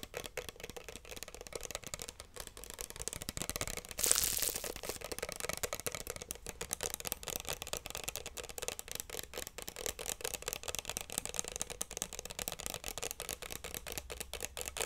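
Long nails tap and scratch on a small, hollow pink plastic bottle with a screw cap that appears partly filled. The result is a steady stream of quick, dry, bright clicks and scrapes, with a brief louder scratchy burst near the four-second mark.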